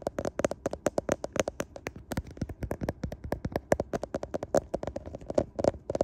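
Fingertips tap rapidly on the glass back and camera lenses of a handheld smartphone with a metal frame. The result is a quick, uneven series of short, dry, clicky taps, each with a faint hollow tone around 570 Hz and almost no ring.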